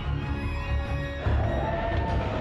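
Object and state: Nothing is struck.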